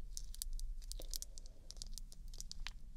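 Long orange fingernails tap rapidly on a small, full glass nail polish bottle of mauve polish held between the fingers. The result is quick, bright, high-pitched clicks over a steady low background hum.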